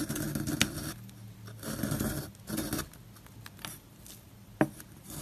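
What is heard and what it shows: A solid square bar of dry, crumbly white soap with blue streaks is held in the hand and scraped and carved with a metal loop tool on a wooden handle, sending powdery flakes falling off. Soft, gritty scraping strokes come in short bursts with quieter pauses between them. A couple of sharp, bright clicks stand out.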